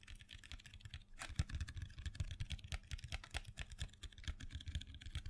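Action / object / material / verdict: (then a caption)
tap / cardboard box of pencils / cardboard / none. Long fingernails rapidly tap and scratch a small printed cardboard box full of colored pencils held in a hand. The result is a quiet, steady stream of short, dull, low taps with crisp, bright scratchy clicks, over a faint constant low hum.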